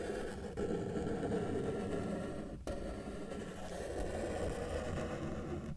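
A felt-tip marker held in the fingers is dragged across a flat white paper sheet resting on a solid table, drawing lines. A steady, low-mid scratchy rasp continues throughout, with two brief breaks where the marker lifts before the strokes resume.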